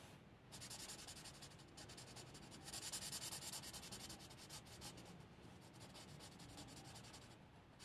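A hand-held marker's chisel felt tip rubs and strokes over a thin paper coloring book page, filling in a cat shape. The result is a steady, bright, scratchy rubbing of quick, fairly regular back-and-forth strokes, growing slightly louder and more hissy in the middle before settling.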